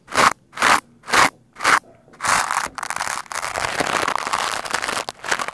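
A lime-green plastic scrub brush is brushed across a black foam microphone windscreen. Four separate crunchy, bright strokes are followed by fast, continuous scratchy brushing that rises and falls with no low rumble.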